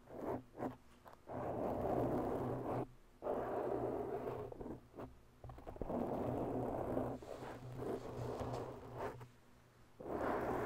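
Long bare natural nails scratch slowly along the sides of a soft, oval black foam windscreen on a microphone. The result is dense, muffled rustling strokes concentrated in the low-mids, with no bright edge, broken by brief quiet pauses between passes.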